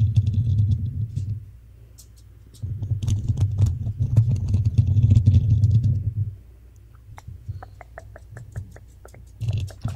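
Long fingernails on both hands scratch and tap the hollow black metal mesh grille of a desktop microphone. Dense, boomy low rumbling scratches come in bursts, broken by quieter stretches. A run of quick, sharp taps follows near the end before the scratching swells again.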